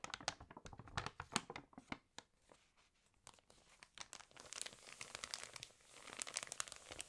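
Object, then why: Glossy paper magazine pages. Fingertips rub, crinkle and turn the pages of an open, water-damaged glossy paper fashion magazine. Sharp, bright paper crackles and tearing-like rustles come in quick bursts, ease into a quieter soft rustle for a moment, then build back into denser crinkling.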